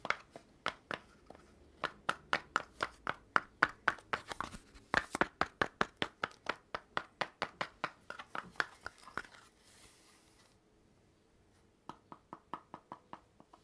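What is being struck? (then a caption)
Cardboard poster tube. Fingertips knock and tap along a long, hollow red cardboard poster tube with gold bands, held horizontally. Quick, dry, unevenly spaced taps each ring briefly with a hollow tone near 1.5 kHz. After a short pause filled with faint hiss, a final run of lighter taps follows.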